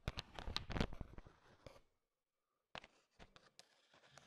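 A bowl heaped with small, hard, sugar-shelled peanut M&Ms is stirred and tapped with a thin wooden stick. A dense burst of crisp clattering clicks as the candies mix gives way to a brief silence, then a few sparser, quieter taps and rattles.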